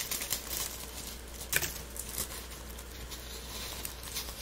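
Latex-gloved fingertips crumble and rub a light, brittle pile of dried rose buds and petals mixed with pink feathery dried flowers. The result is a soft, bright crackling and rustling, with a few sharper crinkles standing out above a low, steady background hum.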